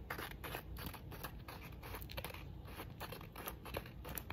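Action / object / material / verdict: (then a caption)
tap / small cylindrical metal herb grinder / metal / none. A small hand-held metal cylindrical grinder with a rose-gold finish is tapped and scratched on its lid and sides by long decorated acrylic nails. Quick, dry clicks and bright scratching strokes come in a steady, busy stream over a low background hum.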